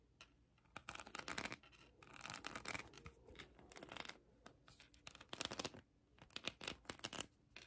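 Long acrylic nails scratch a hand-sized plastic heart covered in colored acrylic rhinestones. Quiet bursts of bright, crackly scratching come and go with short pauses between them. The sound is mostly high and crisp, with almost no low end.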